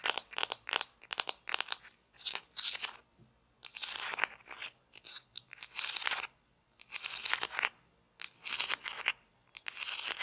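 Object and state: Plastic toy pizza slice.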